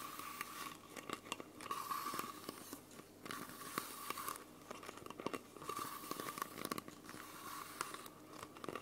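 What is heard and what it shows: Long nails scratch and grip the thin plastic and label of a small, clear plastic Coca-Cola bottle, hollow and mostly empty, held close to the mic. Dense crinkling, crackling and scraping with sharp clicks rise and fall in bursts throughout, bright and airy with little low end, over a faint steady tone near 1 kHz.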